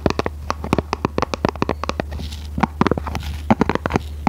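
A small, hollow, red printed cardboard product box is held horizontally in both hands while long red nails tap and scratch it. Quick, dry, hollow taps come in an uneven run, with a soft scratching stretch in the middle and a steady low hum underneath.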